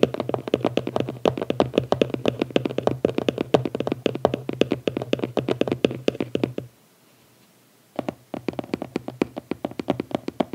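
Fingertips and nails tap rapidly on the lid of a small closed red cardboard gift box, which is briefly lifted and then set down. The quick, dry taps have a hollow mid-range knock with a bright clicky edge and a faint low hum underneath. The tapping runs steadily, stops for about a second of near silence, then resumes.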